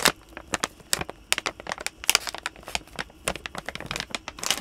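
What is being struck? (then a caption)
Plastic snack bag filled with treats. A blue, hand-sized Canine Carry-Outs plastic dog treat bag filled with treats is held near the mic and crinkled, squeezed and tapped with the fingertips. Dense, bright crackles and sharp crinkles come in quick irregular bursts, with very little low end and almost no ring after each.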